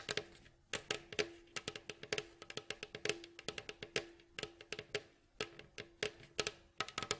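Nails and fingertips tap and scratch the glossy staves of a hollow, rounded, striped wooden mandolin bowl back lying face down. A quick, irregular run of short, bright clicking taps rings briefly with a hollow tone around 430 Hz, and faint scratchy rustles fill the gaps between them.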